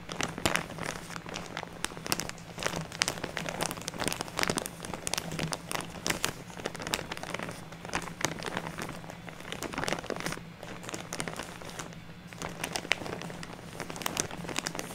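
Fingertips and long nails press, rub and scratch a large, crinkly plastic bag full of fluffy artificial snow resting on a table. The result is a dense, continuous stream of bright crinkles and sharp little crackles with brief louder bursts throughout, over a faint steady low hum.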